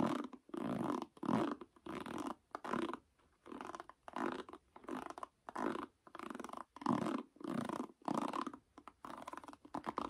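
Fingertips and nails strum and scratch across the black nylon pin cushion of a bamboo or wooden paddle hairbrush held face up. Quiet, soft scratchy rustling comes in short bursts separated by brief pauses, at an uneven pace. The sound is mostly mid-range and dull, with little bright or low content.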